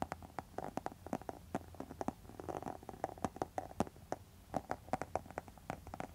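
Long metal nail tips scratch and tap across the face of a pink textured faux leather wallet, making a rapid run of short, dry scratchy clicks. A faint tonal hum sits around 750 Hz beneath them, and there is little deep low end.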